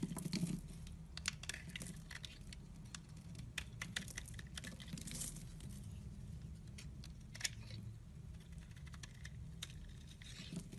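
A metal blade scrapes and chips flakes off the surface of a solid white soap bar held in the hand. Quiet, bright, crisp scratching ticks and short rasping scrapes come in irregular bursts over a steady low hum throughout.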